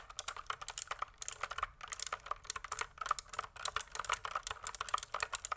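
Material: Plastic.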